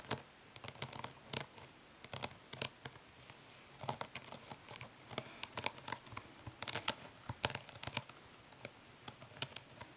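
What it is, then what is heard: Plastic makeup palette tapped with nails. Long nails tap quickly and scratch lightly across the printed lid of a closed, flat, hollow plastic eyeshadow palette. The result is a quiet stream of many irregular, bright, dry clicks with very short decay, mixed with soft scratchy rustling and little low end.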